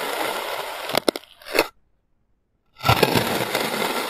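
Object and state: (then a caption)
Kinetic sand being cut. A clear plastic serrated knife slices and scoops a small solid mound of blue kinetic sand on a white surface, giving a steady, gritty crumbling cut and scrape. A few sharp crackling clicks come near the one-second mark, followed by a short swell of scraping and then a gap of silence. The crumbling scrape resumes and carries on to the end.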